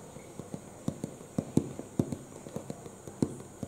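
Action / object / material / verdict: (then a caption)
tap / cardboard box / cardboard / none. Fingertips and short nails tap rapidly on the front panel of a medium-sized, hollow printed cardboard retail box for a UPS power supply, held upright against the chest with its contents unknown. The taps are dull, hollow, low thumps with faint clicky edges, uneven in strength and spacing, each dying away almost instantly over a soft steady hiss.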